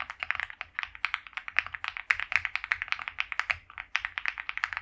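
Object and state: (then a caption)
Mechanical keyboard with PBT plastic keycaps. Both hands type continuously on a white compact mechanical keyboard with PBT doubleshot keycaps, a polycarbonate plate and a foam-filled plastic case, resting on a felt mat, fingertips pressing the keys. The result is a rapid, steady stream of short, crisp clacks centered around 2 kHz with bright upper edges and almost no low end. Each keystroke stops dead with virtually no ring.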